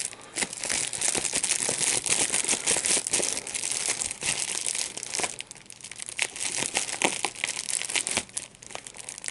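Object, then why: Plastic bubble wrap. A small piece of clear plastic wrap with large, hollow, air-filled bubbles is squeezed and popped between the fingertips and thumbs of both hands. Bright, crinkling plastic rustles continuously, with many sharp pops spread throughout. The bursts come in a denser run over the first five seconds, then turn sparser and more spaced out.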